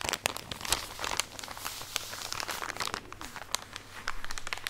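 Long nails scratch and tap across a full plastic drawstring package of cotton pads, producing dense, bright crinkling and scratchy rustling with sharp clicks, close and quiet over a faint steady low hum.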